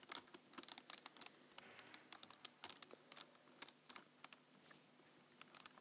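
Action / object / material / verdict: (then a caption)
tap / plastic computer keyboard / plastic / none. Fingertips press and tap the lower keys of a black plastic computer keyboard, making quiet, bright, dry clicks that stop almost instantly. About two dozen separate taps come in irregular bursts, with almost no low end and a brief soft rustle near the end.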